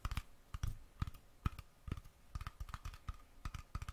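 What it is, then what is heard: Metal screw lid on a glass jar. Fingertips and nails tap quickly on the metal screw lid of a small glass mason jar with colored contents, held in hand. Seventeen soft, quick taps sound as dull low thumps with a faint clicky tone around 1 kHz. Each tap dies away almost instantly.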